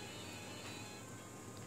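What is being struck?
Nothing is struck.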